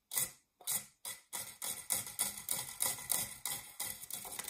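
Long nails scratch the textured base of a round, dark, non-stick metal springform cake pan, held upright, hollow and empty. A quick run of bright, hissy scratching strokes, spaced apart at first and then crowding together, with a faint metallic ring after each stroke.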